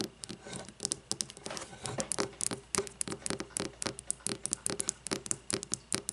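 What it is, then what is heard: Frosted glass candle jar. Long nails tap and scratch a frosted glass candle jar lying on its side with its metal lid on, working over both the glass body and the labelled glass bottom. The sound is a quick, uneven patter of short, bright clicks with very little ring, mixed with brief scratchy rasps.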